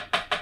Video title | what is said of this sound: Fix Isolated Fret Buzz. How to Diagnose, Spot Level, Crown & Polish Your Guitar Frets | now I can hear that this fret is solidly seated in the fretboard